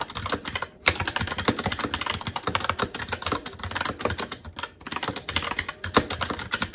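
Fingertips of both hands type continuously on a SteelSeries Apex 7 TKL mechanical keyboard with Red switches, black plastic keycaps on a metal plate, and a hollow RGB-backlit case resting on a desk. A fast, dense stream of short, bright clicks and clacks runs throughout, with brief pauses near 0.8 and 4.7 seconds, each keystroke dying away almost instantly.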